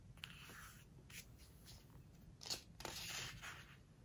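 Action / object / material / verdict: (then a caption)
scrape / glossy paper pages of a hardcover book / glossy paper / none. Fingertips and long nails turn and smooth down the glossy pages of an open hardcover home decor book. Quiet, bright papery swishes, crinkles and soft scrapes come in uneven bursts over a low, steady background hum.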